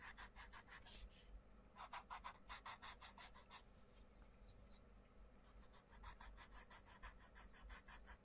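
A wooden coloured pencil rubs and scratches across a paper colouring book page in quick back-and-forth colouring strokes, heard up close. Each stroke gives a bright, dry, raspy scratch, and the strokes come in rapid bursts with a quieter, lighter stretch of shading in the middle before the fast strokes resume.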